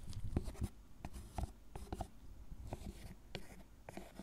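A gloved hand carves and scrapes the surface of a solid, tablet-sized milk chocolate bar lying on a wooden cutting board, using a thin metal carving tool with a wooden handle and raising curled shavings. Quiet, dull scraping strokes come in short, separate bursts with soft clicks and taps, heavy in low tones with little brightness.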